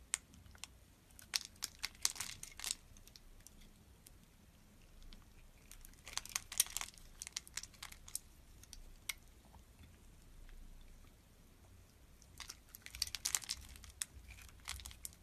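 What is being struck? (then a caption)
Glycerin soap bar. A metal blade cuts into a solid, translucent red glycerin soap bar that has been scored into cubes and is held in the hand, breaking small cubes off. Quiet, bright, crisp crackles and sharp snapping clicks come in clusters around 1–3 s, 6–7 s and 12–14 s, with softer scraping between them.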